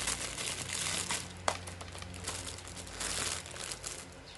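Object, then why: Thin plastic film bag. A clear, thin plastic film packaging bag wrapped around a hand-sized white and blue plastic Hello Kitty toy gun is squeezed with the fingertips of both hands. It gives a dense, bright crinkling with one sharper snap partway through. A low steady hum runs underneath.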